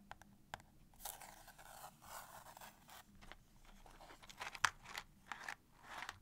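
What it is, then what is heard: Cardboard matchbox. Long painted nails scratch and tap the sides and edges of a small, closed cardboard matchbox full of wooden matches, including near its striking strip. Soft, dry scraping and crunchy rasps alternate with a series of sharp, bright taps, all quiet and close with very little low end.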